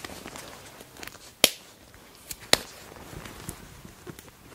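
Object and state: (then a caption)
Leather jacket being squeezed. Fingers with long nails pinch and rub the collar tab near the neckline of a flexible black leather (likely faux) jacket. Quiet, bright rustling and creaking of the leather runs throughout, broken by two sharp, crisp snaps.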